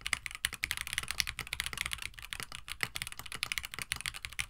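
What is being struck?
Plastic mechanical keyboard with PBT keycaps.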